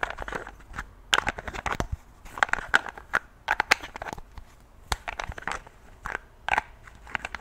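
A tall, partly full glass perfume bottle with pink liquid is held in one hand while fingertips and long nails take off, replace and click its gold metal cap. Clusters of sharp, dry clicks and taps come in quick bursts with brief quiet gaps, bright and short with no ring after each contact.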